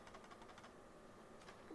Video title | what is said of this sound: Steelseries Sensei 310 Gaming Mouse are FIRE! | I'm holding mouse wheel right now so it's not the mouse wheel there's something in the mouse